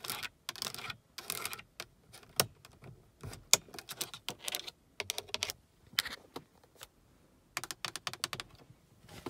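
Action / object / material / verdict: tap / plastic car dome light console / plastic / none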